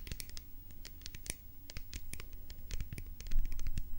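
A hollow white plastic pump bottle is scratched and tapped on its sides with long nails. Irregular bursts of crisp, scratchy clicks sit over a low rumble and grow somewhat louder toward the end.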